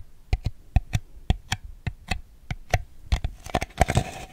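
Fingernails tap and scratch the bottom and sides of a small, ribbed, hollow, empty white plastic bowl, giving sixteen quick, dull, low knocks with a faint hollow tone and almost no ring. The taps speed up toward the end and blend into brighter scratching.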